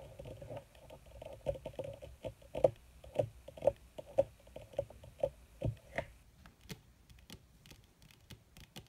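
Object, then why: Leather surface. Long red fingernails of both hands tap quickly on a flat black crinkled leather (or faux leather) surface, giving soft, dry, uneven patters with a low mid-range tone and no ring. The taps come in irregular bursts, with a few louder clicks standing out before the sound thins to sparse, brighter ticks near the end.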